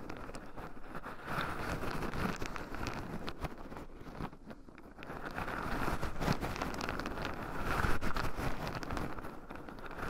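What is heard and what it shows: Two wooden chopsticks stir and poke loose shelled pine nuts in a small round wooden bowl, with two black microphone cables running over the rim. A dense, steady patter of soft clicks and gritty rattling continues throughout, heaviest in the low range. It dips briefly midway, then grows a little louder and busier toward the end.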